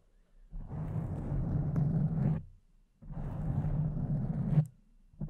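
Long decorated acrylic nails scratch and rub the soft, porous surface of a pink foam windscreen covering a condenser microphone. Two long, deep, rumbling scratching strokes are heard, each lasting almost two seconds with short quiet gaps between them. A third stroke begins at the very end.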